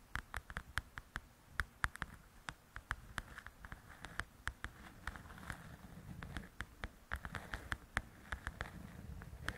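Long nails tap and scratch across the glossy cover of a large, flat paperback coloring book. A quick, irregular run of sharp, dry clicks with bright tops sits over a soft, low rumble, and stretches of faint scratching fill the gaps. The overall level stays quiet, and each tap dies away almost instantly.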